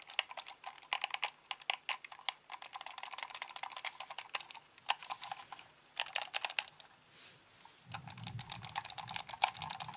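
Fingertips click the buttons and turn the white scroll wheel of a hand-sized, hollow, black plastic corded computer mouse. Rapid bursts of short, bright clicks follow each other with almost no ring, easing into a brief softer lull near the seven-second mark. The clicking then resumes over a low rumble.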